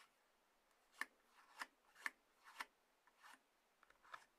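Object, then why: Small cardboard box. Long nails of both hands scratch and rub the sides of a small, closed, hollow white-grey cardboard iPhone box resting on a table. Five distinct, quiet, dry scratching strokes come at irregular intervals, with softer rubbing between them. Each is a bright, papery rasp that stops at once without ringing.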